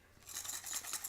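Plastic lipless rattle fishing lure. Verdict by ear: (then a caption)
Loud. A gold plastic lipless rattle fishing lure is shaken, giving a bright, high-pitched rattling clatter of small internal rattles that swells in after a quiet start. The rattle is loud, and the lure is thought to hold about ten rattles inside.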